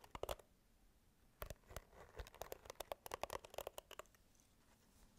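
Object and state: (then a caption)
Plastic hairbrush. Long nails scratch and tap on a pink plastic hairbrush with a handle and bristle pad. Quick, dry plastic clicks come in irregular clusters, each with a faint hollow tone around 600 Hz and a bright, crisp edge. Softer scratchy rustling sits between them, and the sound is quiet overall, with short pauses at the start and end.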